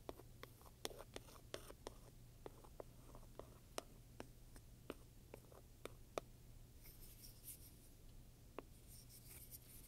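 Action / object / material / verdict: scrape / leather handbag with metal studs / leather / none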